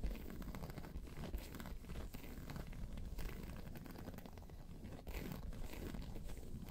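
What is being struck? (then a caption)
Embossed faux leather bag. Long pointed nails scratch and tap across a round tan crocodile-embossed faux leather bag, giving a steady dry crinkling, crackling scrape. The texture is dense and mostly low, with a few sharper taps standing out briefly above the continuous rustle.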